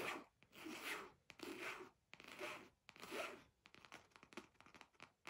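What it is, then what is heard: Fabric pencil case. Fingertips and nails scratch and tap the surface of a flat red fabric zippered pencil case with a round basketball patch, held upright in both hands. Long, bright, rasping scratch strokes rise and fade in slow waves, then give way to quicker, lighter scratches and taps toward the end.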